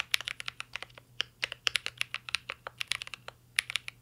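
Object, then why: Mechanical keyboard with metal case and plastic keycaps. Fingertips of both hands type continuously on a mint green Cyberboard R3 mechanical keyboard with a metal case and plastic keycaps. About 26 sharp, bright keystroke clacks, centered near 2.3 kHz, come in quick uneven bursts, each dying away almost instantly. A faint steady low hum runs underneath.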